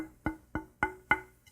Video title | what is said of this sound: KIM WALKER 03 - Tap Tone Wood | This is just mahogany and you can hear that there's not a whole lot of resonance in the neck.